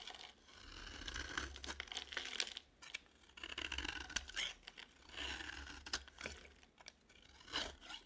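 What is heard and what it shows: A palm-sized, solid cream bar of dry soap embossed "bridge" is held in one hand and scraped and shaved with a metal utility knife blade, and the shavings fall off. Bright, crisp scraping and crunchy shaving strokes come in bursts with short pauses between them.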